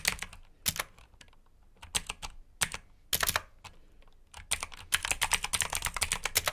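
Fingertips type on the keycaps of a black plastic mechanical keyboard with blue switches, producing sharp, bright clicky keystrokes with very short decay. Bursts of typing alternate with brief pauses, and the keystrokes grow denser and faster toward the end.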